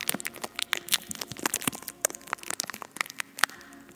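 Long acrylic nails on both hands tap and scratch the hollow, bare silver metal mesh grille of a large condenser microphone. The result is a rapid, uneven stream of dry, crackly clicks and scraping crunches, bright and thin with almost no low end. Each tick dies away instantly.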